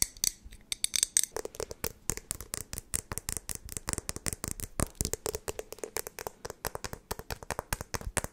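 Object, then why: Glass jar with lid. Long nails rapidly tap the body and lid of a clear glass jar that appears to hold a little liquid, held close to the mic. Some four dozen sharp, bright clicks come in a quick, uneven stream, each dying away almost instantly, with a few slightly duller, lower knocks mixed in.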